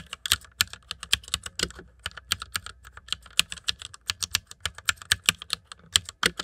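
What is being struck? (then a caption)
Plastic mechanical computer keyboard. Fingertips of both hands type on the keycaps of a white plastic mechanical computer keyboard. A steady, irregular stream of sharp, bright clicks, each decaying almost instantly, with very little low end.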